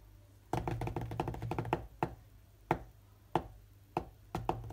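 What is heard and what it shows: Both hands' fingertips tap quickly on the glass touchscreen of a large, solid tablet lying flat and running a rhythm game. A fast flurry of short, dull taps comes first, followed by sharper single taps spaced apart, each a muted, low-mid knock that dies away almost at once.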